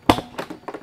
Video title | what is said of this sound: UWINFLY T3 Motor Vespa Listrik Murah Meriah Irit Banyak | di body ya kan udah bunyinya nyaring banget tuh